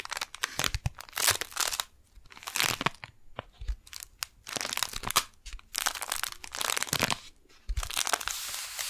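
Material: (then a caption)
Kraft paper. A flat brown kraft paper package with a window showing a pink floral beeswax wrap inside, held upright in both hands, is tapped and scratched by long painted nails. Bright, dry crinkles and crunchy scratches come in dense bursts separated by short pauses, with occasional soft low thumps from the taps.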